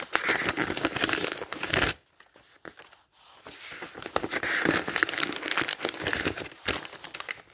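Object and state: Dictionary pages riffled.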